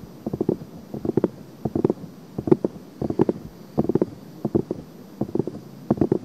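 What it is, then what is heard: Silicone microphone ear being scratched. Long painted nails and fingertips scratch and rub the silicone ears of a binaural microphone, making soft, muffled scratchy bursts in uneven clusters. The sound sits in the low-mid range around 200–500 Hz, with brief brighter clicks rising above it over a faint steady high hiss.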